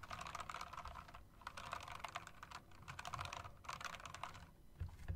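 An RGB mechanical typewriter-style keyboard with round plastic and metal-rimmed keycaps is typed on with fingertips and long nails, striking the keys and the space bar. Rapid, bright clicks and clacks come in quick bursts over a low rumble, with short pauses between runs.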